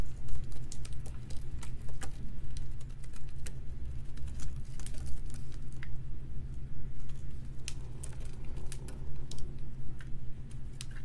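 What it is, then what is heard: Soap bar being cut. A metal utility knife blade scores and scrapes a solid, dry pink soap bar held in the hand, leaving soap shavings around it. Rapid, crisp ticking scratches and sharp clicks run steadily throughout over a constant low hum.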